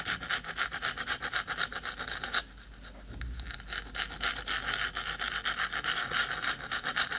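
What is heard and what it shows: Long stiletto acrylic nails on both hands scratch fast across the metal top of a black, hollow, cylindrical 3Dio binaural microphone housing. The result is a rapid, bright, hissy rasping at about four strokes per second. It briefly drops to a quieter, softer rub just before the middle and then resumes at full pace.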